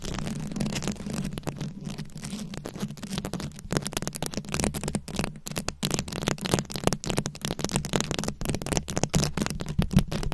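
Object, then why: Microphone head covered in plastic rhinestones and beads. Very long acrylic nails scratch a round, fist-sized microphone head covered in plastic rhinestones and beads. A dense, continuous stream of crisp clicks and scrapes rattles across the bright range over a steady low hum that stays underneath throughout.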